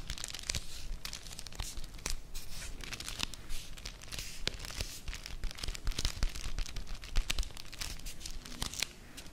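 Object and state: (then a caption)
Cardboard chocolate bar box. Long nails scratch and tap along the face and edges of a small, flat, full Vanini chocolate bar cardboard sleeve, close up. Dense dry crackling and scratching with sharp taps and bright, crisp edges run continuously over a low rumble, with no ring after each hit.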